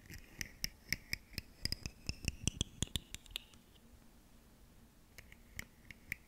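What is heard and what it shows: Long fingernails scratch and click along the ridges of a ribbed, segmented plastic fidget slug toy with hollow segments, held in one hand. A quick run of sharp, dry clicks with bright, hollow overtones fills the first three and a half seconds, then stops. After a quiet gap, a few scattered clicks return near the end.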